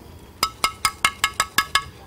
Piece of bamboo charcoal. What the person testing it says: เวลาเราเคาะมันจะต้องได้เสียงอย่างนี้